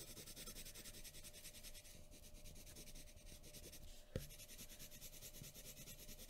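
A graphite pencil tip scratches and rubs over a thin sheet of white drawing paper on a wooden table while shading hair and eyes. It makes a soft, continuous, grainy rasp with high, bright hiss, rhythmic strokes, and one sharper tap just after the four-second mark.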